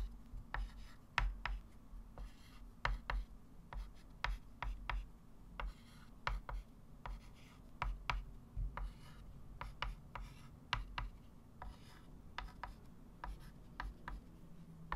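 A white chalk stick writes a multiplication table on a small, solid, flat chalkboard with a wooden frame. It makes many short, sharp scratching taps and strokes with bright edges. A steady low hum sits underneath.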